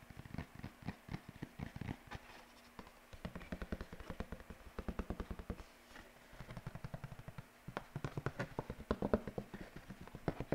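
A single white paper sheet is arched overhead, then waved and held close to the mic, bent and shaken with the fingertips. It gives quick, dense bursts of crisp crackling and flapping rustles with short, dry snaps, quieter pauses between bursts, and a fuller, louder stretch near the end.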